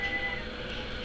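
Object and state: Nothing is struck.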